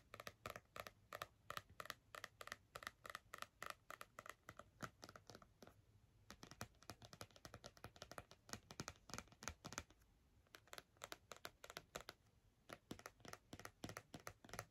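Long red-painted nails tap and scratch across the glossy red printed card cover of a large, thick softcover "Mega Colouring Book" lying flat on its solid stack of paper pages. Quick, dry, clicky taps come in fast bursts with very short ring. Brief stretches of softer scratching fall between the bursts.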